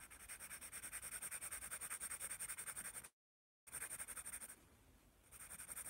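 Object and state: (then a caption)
Pencil drawing on a paper sketchbook. A yellow wooden graphite pencil scratches rapidly back and forth across the thin white sheets of a hand-held spiral notepad while drawing, making a dense, bright, rhythmic scratching with a high hiss. The strokes stop for about half a second of silence just after the three-second mark, then resume, drop to a softer, quieter rubbing for a moment, and pick back up to the same brisk scratching.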